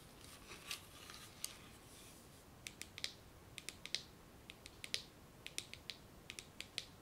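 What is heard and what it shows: Long nails and fingertips scratch and rub over a spool tightly wound with a string of small shiny gold plastic beads, held in both hands. Soft rustling in the first seconds gives way to a quick series of sharp, bright clicks and ticks that stop almost instantly, over a quiet hiss.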